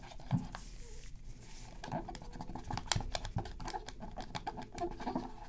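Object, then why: Hard plastic game controller. Gloved fingers hold a black PS3 controller, its hollow hard plastic shell lying on black fabric, while a cotton swab scrubs and scratches around the face buttons. The result is a steady, dry scratching texture broken by short, sharp ticks and clicks, with a louder tap near the start and another around the middle.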